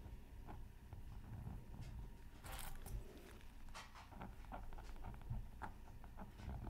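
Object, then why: Scratch art paper sheet. A bamboo stylus tip steadily scratches a thin, solid, flat black-coated scratch art card from a Mythical Creatures Super Scratch Art Pad. Short, bright scraping strokes come one after another over a quiet, low background rumble.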